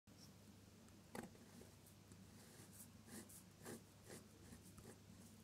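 A metal dip-pen nib loaded with red ink scratches across a flat sheet of drawing paper while drawing petals. Quiet, steady, scratchy strokes rise as brief bright rasps over a constant low hum.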